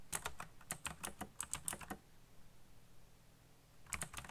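Fingertips type quickly on the keycaps of a backlit black plastic mechanical keyboard, producing a rapid run of short, bright, clicky keystrokes over a low thud for about two seconds. After a quiet pause, a few more keystrokes follow near the end.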